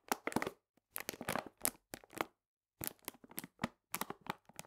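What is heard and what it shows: A full paper cane sugar bag lying on its side is pressed and crinkled at its ends with fingers and nails. Quick, bright crackling and crinkling bursts come in clusters separated by short silences, with almost no low end and no ringing after each crunch.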